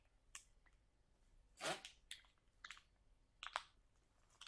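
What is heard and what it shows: Long nails and fingertips press and scratch a sealed, clear plastic package of sauerkraut that lies soft and full on a table. Seven short, bright crinkles and scratches pop out of a quiet background, with the longest, fullest one near the middle. Each dies away almost instantly.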